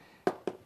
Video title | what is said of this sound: Stucco and EIFS Inspection Tips | sounds much more solid firm that's a hard coat system